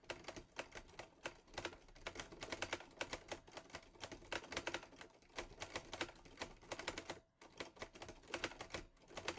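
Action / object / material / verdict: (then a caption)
strike / metal portable typewriter / metal / none. Fingertips type fast on the keys of a teal metal Olivetti Lettera 22 portable typewriter. A rapid stream of sharp, bright clacks follows with quick decay, broken by a brief silence near seven seconds before the typing resumes.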